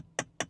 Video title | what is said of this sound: Volvo EX30 Review: The Honest Verdict on the Compact Electric SUV | it sounds like metal, door handle